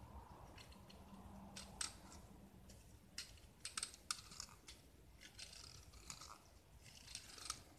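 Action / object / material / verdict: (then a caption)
scrape / gypsum plaster block / gypsum plaster / none. A small solid gypsum block painted purple is held in the hand and shaved with a metal utility knife blade, exposing white plaster underneath. The quiet, dry scraping is bright and crisp, with sharp clicking peaks from some strokes over a soft, steady hiss.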